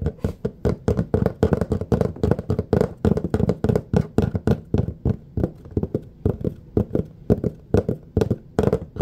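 A large, thin, flat red plastic serving tray with a raised rim lies empty on a surface while the fingertips and nails of both hands tap and scratch it. A quick, uneven stream of dozens of dry, hollow taps with a low body and scratchy, brighter edges is heard. Each tap dies away almost at once with no ring.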